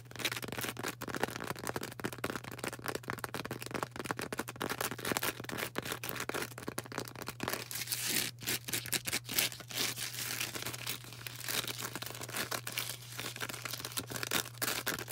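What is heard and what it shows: Long orange nails rapidly tap and scratch a solid, palm-sized star of bright green porous floral foam. The result is a dense, continuous stream of dry crackling and scraping clicks with a bright, hissy edge over a steady low hum.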